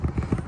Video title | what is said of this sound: Alliance RV Roof Vent: Inspect This Now! | I'm just barely tapping on it. I'm tapping on with my pinky, so I'm not hitting it hard. This thing just sits there and rattles.